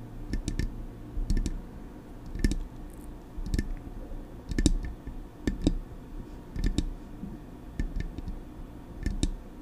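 Long acrylic nails tap on the smooth metal casing of a silver Blue Yeti microphone. The result is a series of sharp, irregular clicks in small clusters, each with a bright, glassy tick on top and a dull low thump from the body beneath.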